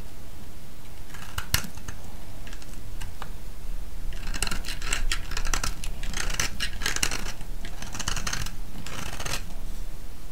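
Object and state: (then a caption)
Bar of soap being shaved. A solid, oval, pale yellow round soap held in the hand is shaved with a metal blade, producing a series of crisp, dry scraping bursts. The bright, crackly shavings come in uneven clusters over a steady low hum.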